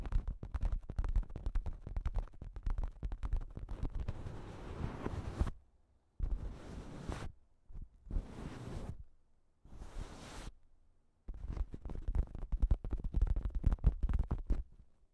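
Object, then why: Plastic shower cap. Long pink acrylic nails scratch and tap all over a pink plastic shower cap with a cat print pulled over a recorder. Dense bursts of crinkly rustling and rapid tapping thump heavily in the low end, broken by short silent pauses, then the quick tapping picks up again.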